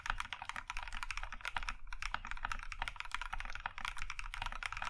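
Both hands type with their fingertips on a compact Plum Iron 165 mechanical keyboard with a maroon metal case and cream plastic keycaps. A rapid, continuous stream of short, clacky keystrokes is heard, bright and crisp with a mid-pitched tone, over a steady low hum.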